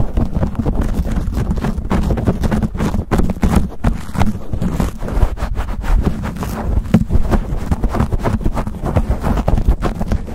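Fingertips and short nails quickly scratch and squeeze a black foam windscreen on a silver condenser microphone. The result is a dense, fast run of low, muffled rubbing and crackling bursts with almost no high content.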